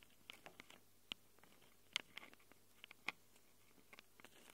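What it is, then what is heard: Metal mic capsules tapped and scratched with nails. Long acrylic nails scratch and tap the metal mic capsules of a small black handheld Tascam recorder. About eleven quiet, sharp, bright clicks and taps come at an irregular pace over a faint low hum. Each tap dies away almost instantly, and soft scratchy rustles fill the gaps between them.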